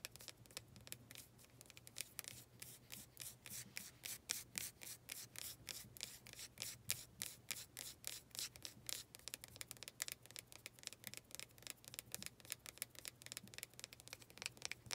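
A small faceted wooden planter with a visible knot has its wooden surface rubbed and scratched by long nails. A fast, continuous run of bright, dry scratching strokes, each one short with almost no ring, repeats steadily over a faint low hum.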